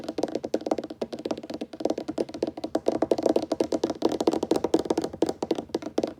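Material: Wood.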